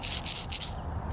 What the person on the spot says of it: it's not like a one knocker it's more of a hard knocker it's got a lot of rattles in that bad boy